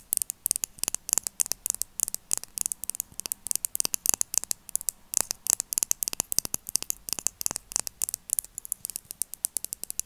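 A hollow, pen-sized black plastic kohl eyeliner pen with a clear plastic cap is held above a table and tapped rapidly with long acrylic nails. Dozens of sharp, dry, bright clicks come in an irregular rhythm with almost no ring and no low end, over a faint hiss between taps.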